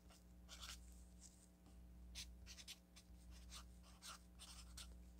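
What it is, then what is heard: Felt-tip marker writing on a paper sticky note pad. A felt-tip marker writes on a yellow paper sticky note pad, making a series of short, bright, scratchy strokes at an uneven pace. A steady low hum runs quietly underneath throughout.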